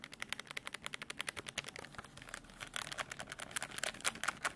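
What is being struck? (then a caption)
Plastic desk calculator. Fingertips quickly press and tap the keys of a black plastic desk calculator, then tap the edge of its case. The result is a fast run of short, dry, bright plastic clicks with almost no ring, growing louder and denser toward the end.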